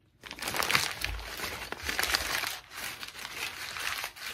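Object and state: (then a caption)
Crumpled notebook paper. A thin white lined notebook page with a ragged spiral-torn edge is squeezed and crinkled in the hands, worked by fingertips with long pink nails. After a brief silence, dense, bright, crackly crinkling rises in uneven bursts with a few dull low thumps, dipping once before continuing.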